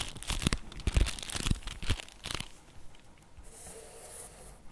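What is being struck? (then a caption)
Flat cardboard box. A flat printed cardboard box from a Nero Nero dark orange chocolate bar is held in both hands while fingertips and nails tap and scratch its surface and edges. Crisp, papery taps and scrapes with dull low thumps come in a loose, roughly two-per-second rhythm for the first couple of seconds, then fade to a soft, bright rustling scratch.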